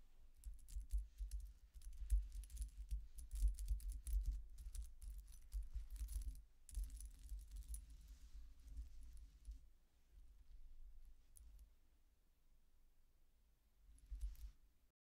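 Fingertips with long dark-painted nails rake, tap and shuffle the many thin round metal discs of a silver-toned necklace on chains lying flat on a dark table. The discs clink together in dense, bright jangling bursts over a low rumble, then the clinking fades to near quiet before a short final flurry of clinks.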